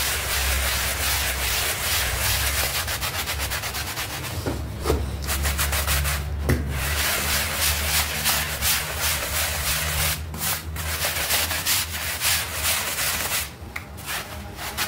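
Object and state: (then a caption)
Soapy textile rug being scrubbed. A hand scrubs a small pink textile rug covered in soap foam in circles with a stiff bristle hand brush. The result is a continuous, rough, bright scratching hiss in loosely rhythmic strokes, with a steady low hum underneath and a few brief pauses.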